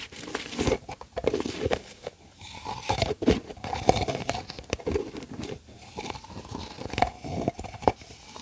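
Long acrylic nails tap and scratch mostly across the top of the yellow plastic lid on a medium, hollow plastic tub. The result is a quick run of dry, clicky taps mixed with scratchy rasps, and some hits carry a short hollow ring around 740 Hz.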